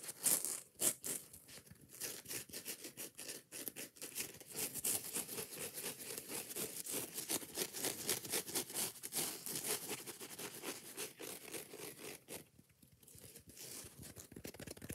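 A foam kitchen sponge with a green scouring pad is gripped in a hand while fingertips and nails scratch quickly and aggressively across the abrasive pad. The result is a dense stream of short, dry, bright rasping strokes at about four per second, quiet overall, with a brief lull near the twelve-and-a-half-second mark.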